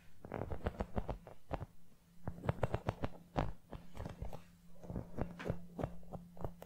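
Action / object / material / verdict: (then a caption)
tap / small rubber toy football / rubber / none. Long nails tap and scratch the surface and laces of a small brown rubber toy football, likely hollow. The result is a quick run of short, dull, low thuds with soft scratchy sounds between them, each tap dying away almost at once over a faint steady low hum.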